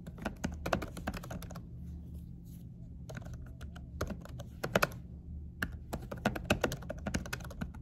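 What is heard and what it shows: Both hands type with fingertips and short nails on a laptop keyboard fitted with a dark silicone cover. Bursts of soft, muted taps with low thuds and brief bright clicks are broken by pauses near 2 and 5 seconds. A steady low hum runs underneath the whole time.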